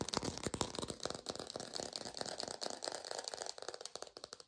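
A textured artificial plastic orange is tapped quickly with fingertips, recorded through a lo-fi setup. The result is a rapid, uneven patter of dry, bright clicks with almost no ring, fading slightly near the end.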